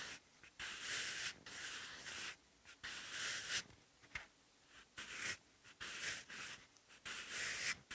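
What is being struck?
Graphite pencil on textured notebook paper.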